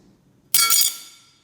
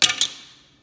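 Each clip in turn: First: metal credit card, metallic sound. Second: metal-and-plastic card with a dull, non-metallic drop sound.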